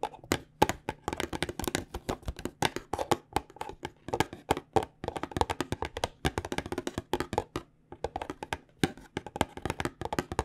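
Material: Cardboard.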